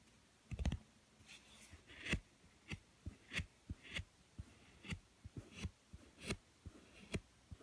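Long manicured nails and fingertips tap and scratch a thin yellow cardboard book cover, and its edge, as it lies flat on a woven mat. The result is a quiet, uneven series of short, dry clicks and taps with brief bright scratchy swipes and a soft low thud beneath them. Nothing rings on after each touch.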